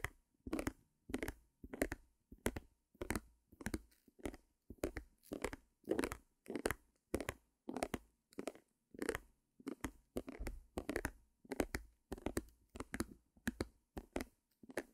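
A small white stretched canvas, held beside the mic, is tapped and scratched with long nails. Short, dry, papery bursts of scratching and tapping repeat at a loose, uneven pace, with a low-mid body and a faint bright edge. The result is a quiet, close, crinkly texture throughout.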